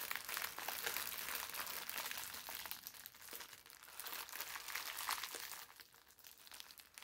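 A crumpled ball of thin brown parchment paper is squeezed and then unfolded, giving a steady stream of quiet, bright crunching and crinkling with dense, irregular crackles. The sound stays mostly in the upper range with almost no low end, and it grows a little softer toward the end.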